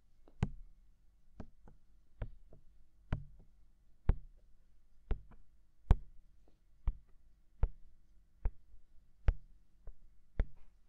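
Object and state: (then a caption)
Silicone ear of a binaural microphone being tapped. Fingertips tap the white silicone ear of a binaural microphone, hollow and mounted, in a slow, steady rhythm. Twelve main soft, dull thumps, each with a brief bright click on top, alternate with fainter taps between them. Each thump dies away almost instantly against a quiet low hum.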